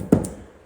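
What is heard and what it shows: Two knocks on a wooden door lying on the ground, a wooden frame with a thin skin of about 5–6 mm rather than solid marine ply. Each knock gives a short, hollow, low thud that dies away quickly, showing the door is not solid.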